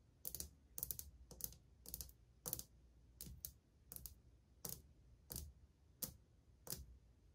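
Old glazed ceramic subway tiles on a wall, flat and solid, are tapped with long painted fingernails and fingertips. Quick, bright clicking taps come in short clusters at a steady pace, each dying away almost instantly against a low, quiet background.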